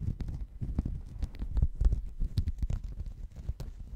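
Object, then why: Woven fabric mat. A checkered woven textile mat held around the microphone is scratched with fingernails, producing a dense, uneven run of muffled scraping and rustling with soft, thumping low-end bumps. The sound stays dark and boomy, with only faint brighter scratch edges.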